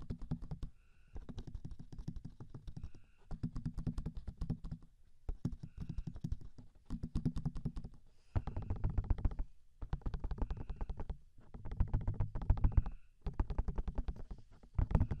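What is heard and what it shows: Fingertips give fast taps and pats on the hollow, soft silicone ears of a 3Dio binaural microphone, with both hands cupping the ear shapes. The clip is heard as dense, muffled, low thumping patter in bursts separated by brief pauses, with a faint high tone showing up between some bursts.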